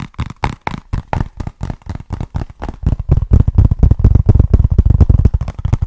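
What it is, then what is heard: Cardboard box, tapped and scratched. Fingertips tap and scratch a small, flat, hollow brown cardboard box with a barcode label, held in the hands. The result is a rapid, uneven run of short, dry, low thumps with faint scratchy texture. The taps grow denser and louder toward the end.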